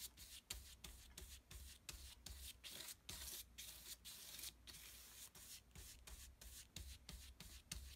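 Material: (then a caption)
Paper. A wide flat brush with a wooden handle is stroked repeatedly across a flat, thick sheet of heavy painting paper on a table, blending wet peach and pink paint. About twenty quick, bright, scratchy swishes follow one another with short gaps between them, over a steady low hum.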